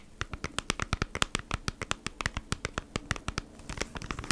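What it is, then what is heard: Plastic-sleeved cardboard package. Long nails scratch and tap on the front of a flat beeswax wrap retail pack, a cardboard package in a clear plastic sleeve. Twenty-nine short, dry, crinkly clicks with bright plastic edges come in a quick, uneven run, with a faint scratching hiss between them and no ring after each hit.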